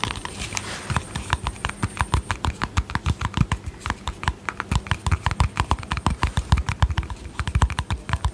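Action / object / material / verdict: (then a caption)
tap / small plastic cream jar with lid / plastic / none. A small, round, hollow yellow-green plastic cosmetic cream jar with a lid is held in both hands and tapped with painted fingernails around the lid and sides. Dozens of quick, unevenly spaced taps pile up, each a dull low knock with a short bright click that dies away almost at once.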